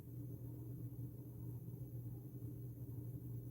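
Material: Nothing is struck.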